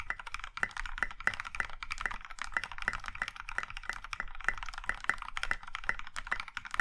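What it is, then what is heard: Mechanical keyboard with plastic keycaps. A compact mechanical keyboard in a maroon metal case with dark grey and pink plastic keycaps is typed on with the fingertips of both hands. A fast, steady stream of sharp clacks carries a bright tonal peak near 2 kHz. Each keystroke dies away almost at once.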